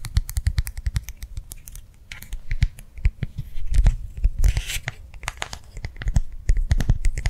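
A small, round, clear plastic gel-filled hand warmer pad is held edge-on and tapped and scratched with long nails. Fast, steady taps land as short, dull thuds with sharp, bright clicks on top, mixed with brief scratchy rasps. It's a rapid, close, crisp tapping texture with no voice.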